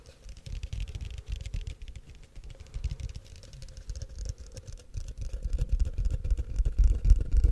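Fingertips and short nails tap and scratch the walls of a tall, empty, hollow frosted translucent plastic cup held in one hand. The result is a dense, irregular patter of soft, dull taps with a faint scratchy texture. The sound is mostly low and muffled, with short, dry hits, and it grows louder toward the end.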